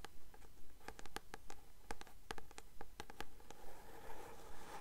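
Long nails tap and scratch the glossy card front cover of a blue paperback novel held upright. Quiet, crisp clicks fall in a steady, even rhythm with a dry papery scratch between them, and the scratching grows into a brighter rustle near the end.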